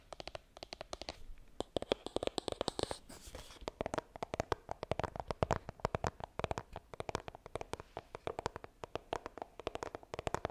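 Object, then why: Small coated cardboard phone box. Long green nails scratch and tap rapidly on the front of a small, hollow white iPhone retail box made of coated cardboard and held upright. The result is a dense stream of short, dry, crisp clicks with almost no ring, broken by a brief stretch of bright scratching.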